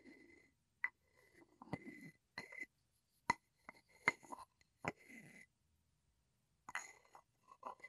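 A wooden pestle is rubbed and tapped against the outer wall of a hollow wooden mortar held sideways. Quiet, irregularly spaced sharp taps are mixed with soft scraping rubs, each carrying a faint hollow ring near 2 kHz that dies away almost at once, with brief silences between bursts.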